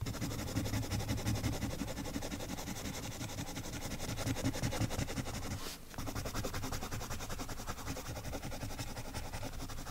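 A colored pencil held in a silver metal extender rubs rapidly back and forth on a thin paper page of an adult coloring book resting on a woven mat. It makes dense, continuous scratchy strokes with a low, rumbling body and a bright papery hiss. The strokes pause briefly near the six-second mark and then resume at the same pace.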